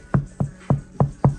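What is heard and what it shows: Five knocks on the front door of a 2025 Honda Jazz, its sheet metal now covered with sound-deadening material. Each knock is a short, low thud around 137 Hz that dies away quickly with no high ring. The soundproofed door sounds solid instead of tinny.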